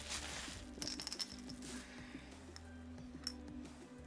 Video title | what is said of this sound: Tuesday Livestream: Chat & Draw 12/02/2025 | It sounds like glass. That's cuz it is glass.